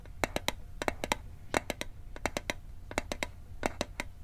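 A small hollow metal Altoids mint tin, held over the microphone, is tapped with fingertips and nails in quick, irregular bursts of 20 short, dry clicks. Each tap stops almost at once, with a faint metallic ring near 727 Hz and a bright high edge over a low background rumble.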